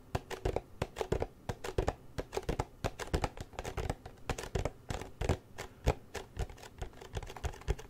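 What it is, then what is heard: Empty cardboard box. Fingertips and nails tap and scratch the sides and edges of a small, open, empty gold cardboard Nikon lens box held close to the mic. About forty quick, dry taps in an uneven rhythm each give a short hollow thump with a bright click that dies away almost at once, while faint scratching fills the gaps.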